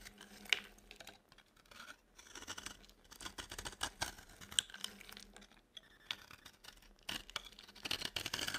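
A utility knife blade scrapes a dry, solid yellow soap bar, shaving off powdery flakes. The sound is a quiet, bright, dry scratching in repeated strokes, with a few sharper clicks and short pauses between passes.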